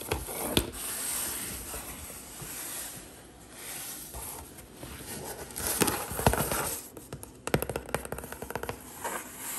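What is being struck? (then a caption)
Corrugated cardboard box. Long green acrylic nails tap and scratch rapidly across the printed top and side panels of a large, hollow HelloFresh corrugated cardboard delivery box. Quick, dry taps come in irregular bursts with a low hollow thump, separated by softer scratchy rustling.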